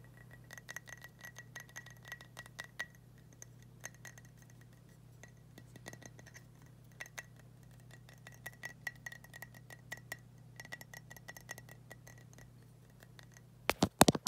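Fingertips and nails tap a large lit Candle-Lite candle in a thick glass jar holding wax, with a drinking glass and a green tumbler nearby. Many quiet, irregular, short clicky taps with a faint glassy ring continue over a steady low hum, ending in a few louder knocks.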